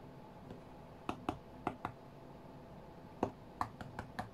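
Fingertips and short nails of both hands tap rapidly on the glass touchscreen of an iPad tablet lying flat on a cutting mat while a rhythm game plays on the screen. Nine short, dull clicks land in an irregular rhythm, in two clusters separated by a pause. Each click decays almost instantly over a quiet, steady hiss.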